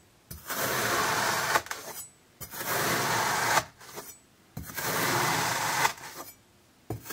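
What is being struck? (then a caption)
Block of kinetic sand cut with a thin knife. A thin, iridescent metal knife blade slices repeatedly, in parallel and diagonal cuts, into a solid, flat, hand-sized rectangular slab of orange kinetic sand resting on a table. Three long, crunchy, grainy scraping cuts of about a second each are heard, each ending in brief rustling, with a fourth cut starting at the very end. The sound is broadband and rasping, brightest in the mid to high range, with little low end.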